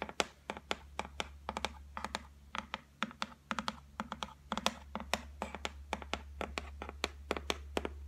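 Long nail tips tap rapidly on the flat top of a solid white laminate shelf board, making about forty short, sharp clicks in quick, uneven bursts. Each tap is bright and dry with almost no ring, over a steady low hum.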